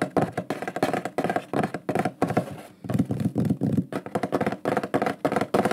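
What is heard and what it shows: A large, flat, shield-shaped solid wooden pyrography plaque with a lion burned into it is held up and tapped quickly across its face with fingertips and nails. The result is a fast, dense run of short, dull, woody knocks with a low-mid body that die away almost at once. There is a brief lull near the middle before the rapid tapping resumes.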